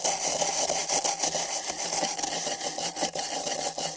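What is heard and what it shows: Thin nylon bristle brushes on long sticks scrape two identical empty printed paper cups fitted over microphone ears. The scraping is a steady, bright, rasping hiss with irregular swells as the strokes rise and fall, and very little low end.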